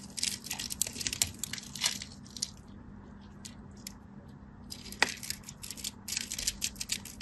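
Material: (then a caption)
Soap. A solid cream bar soap is held in the fingers and carved with a craft knife, scratching and cutting into it. Bursts of dry, crisp scraping and crackling with bright, hissy texture come in two busy stretches. Between them is a quieter gap with a few isolated ticks and one sharp snap near the five-second mark.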